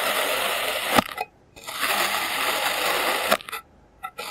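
A clear plastic serrated knife slices layers off a solid block of green kinetic sand. Two long, grainy, hissing cuts each end in a sharp tick, separated by brief near-silence, followed by a few faint soft taps.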